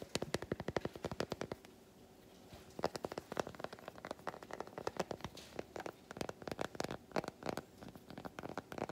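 Fingernails tap and scratch the squares of a large unwrapped solid milk chocolate bar held in both hands. Rapid bursts of short, dry, quiet clicks come in quick runs, broken by a brief scratchy lull near the two-second mark before the tapping resumes.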